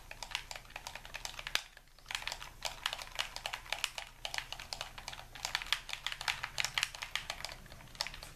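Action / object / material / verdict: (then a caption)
tap / plastic game controller / plastic / none. A white, hand-sized, hollow plastic Xbox-style game controller is held in both hands while thumbs and fingers rapidly tap its buttons and sticks. The result is a quick stream of sharp, bright, clicky presses, with a brief pause near the two-second mark before the tapping resumes steadily over a faint low hum.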